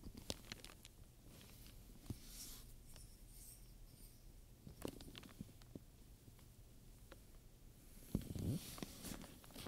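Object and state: Studded leather handbag.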